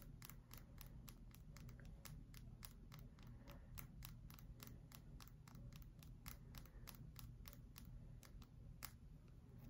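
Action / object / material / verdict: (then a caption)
tap / bar of soap / soap / none. Long acrylic nails tap rapidly on the flat face of a solid pale bar of soap held vertically. Each tap is a short, dry, bright click that dies away almost at once, repeating in an uneven rhythm over a steady low rumble.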